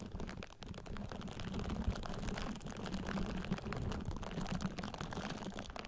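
Long painted nails repeatedly scratch the bristles of a pink silicone facial cleansing brush pad resting directly on a Blue Yeti microphone. The result is a dense, continuous run of quick, muffled scratching strokes, mostly low and boomy, with little high-end brightness and no ring after each stroke.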